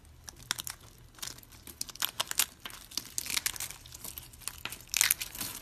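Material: Soap.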